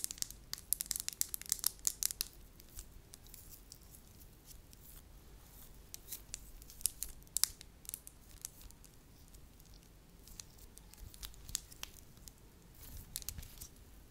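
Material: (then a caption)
Wax. Long lilac nails tap, pinch and crinkle a thin, palm-sized piece of pale-yellow wax, solid yet pliable, held in the hands. A dense flurry of bright, crisp crackling clicks opens the clip, then thins into sparse, quieter ticks and snaps with occasional short bursts. Each sound dies away almost instantly.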